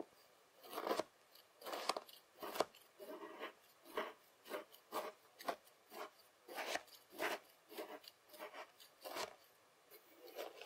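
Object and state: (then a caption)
Kinetic sand. A white plastic fork cuts and scrapes lines through a spread-out layer of beige kinetic sand while the other hand rests on the sand. About fifteen short, soft, gritty scraping strokes are heard, each a quick rasp with a mid-range body and a faint bright hiss. The strokes come in an uneven rhythm with brief near-silent gaps between them.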